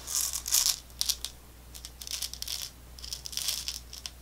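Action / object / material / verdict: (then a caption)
shake / small plastic tube of candy balls / plastic / none. A small clear plastic tube with a white cap, full of small round orange candy balls, is held in the hands, tapped with long nails and tilted and shaken so the candy rattles inside. Bright, dry clicks and rattling come in quick bursts over a faint, steady low hum.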